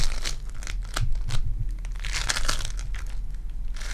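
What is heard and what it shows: A lump of purple foam-bead clay is squeezed and torn apart by fingertips with long dark nails, giving a crunchy, crinkling texture. Bright crackles and tearing bursts come in quick clusters over a steady low hum.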